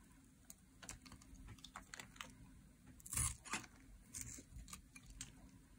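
A metal utility blade scrapes shavings off the edge of a solid, dry teal soap bar held in a hand. A quick run of short, dry, bright scrapes and crackly clicks, with a louder burst near the middle, plays over a faint low hum.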